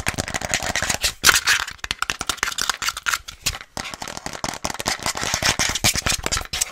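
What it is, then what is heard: Plastic cold cup tapped and scratched. Long nails rapidly tap and scratch a hollow, empty frosted plastic Starbucks reusable cold cup with lid and straw. The sound is a dense, fast run of sharp, bright clicks and crackly scrapes with almost no low end, and each hit dies away almost instantly.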